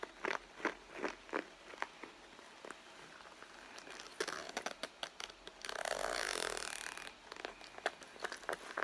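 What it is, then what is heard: Leather handbag, soft and hollow. Fingertips with long blue nails tap and scratch the front panel of a medium red pebbled-leather handbag that is hollow and soft. Quick, dry taps and bright clicks repeat irregularly across the clip, broken up by a longer, louder stretch of rough scratching in the middle. The sound is close, with almost no low end and no ringing after each tap.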